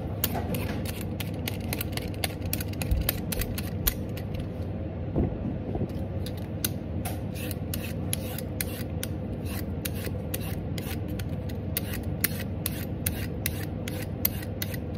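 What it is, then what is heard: Raw carrot being peeled. A vegetable peeler scrapes a raw, solid orange carrot held in one hand, making fast, repeated peeling strokes. Each stroke gives a short, bright, crisp scrape over a steady low rumble, with a brief lull around the five-second mark before the rapid scraping resumes.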